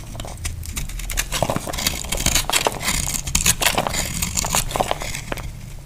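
A small knife carves crumbly shavings from a solid, dry, powdery orange-white soap bar held in the hand. It makes a steady run of dry, bright crackling scrapes and crisp cuts with a faint low rumble underneath. The snaps stop short with no ring.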